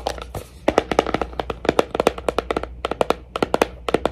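A Pandora jewelry box is tapped for ASMR with a run of about 25 quick, dry taps in an uneven rhythm. Each tap has a short, mid-pitched knock near 450 Hz with a bright click on top and almost no ring, over a faint steady low hum.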